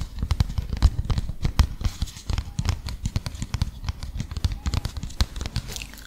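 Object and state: Paper leaflet.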